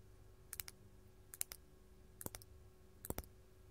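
Long gold metal claw nails tap a large solid faceted purple glass crystal gem in close-up. Four quick bursts of two to three sharp, bright clicks each stop dead with no ring, over a quiet low hum.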